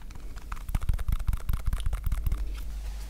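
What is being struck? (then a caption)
Stack of PVC electrical tape rolls. Fingertips and nails tap and scratch the edges and surfaces of several small rolls of colored PVC electrical tape (red, black, blue, white and yellow), stacked side by side into one solid cylinder and held close to the mic. Quick, irregular, dull taps thud low with very short decay, mixed with faint scratchy clicks over a steady low rumble.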